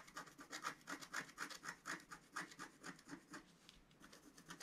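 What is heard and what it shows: A wooden stylus scratches dense strokes into the black coating of a flat, roughly A4 scratch-art paper sheet lying on a table. The sound is a quick, fairly regular run of dry, raspy scratching strokes, about two per second, with a bright papery hiss centred around 1.3 kHz and almost no low end. Each stroke stops sharply with no ring.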